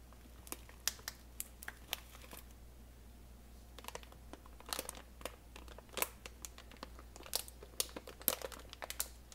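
A clear plastic retail bag of about 2 lb, full of dry brown basmati rice, is held in both hands and squeezed and crinkled with the fingertips. Irregular sharp, bright crinkles and crunches come in bursts, with quieter gaps between them. A faint steady low hum runs underneath throughout.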